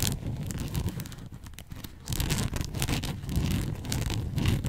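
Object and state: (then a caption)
Fabric bow headband. Long nails scratch and rub a red and white fabric bow headband, pinching its folds. The result is a dense, low, muffled rustling with bright scratchy flecks on top. It dips quieter for about a second in the middle, then returns louder and busier.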